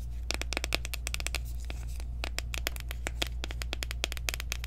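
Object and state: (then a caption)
Plastic loose powder jar. Long nails tap quickly around the rim and sides of a small, round, clear plastic jar of loose setting powder, which is open with its sifter showing and filled with powder. The result is a rapid run of short, bright, dry clicks that stop almost instantly, over a steady low hum.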